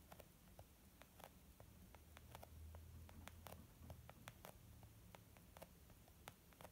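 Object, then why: Leather makeup bag. Gentle, slow fingertip tapping on a leather makeup bag gives a soft, muffled patter of about 22 short, unevenly spaced taps. Each tap is a brief dull click that dies away almost at once, over a steady low hum.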